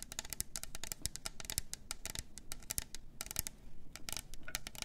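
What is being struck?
Double-walled plastic tumbler.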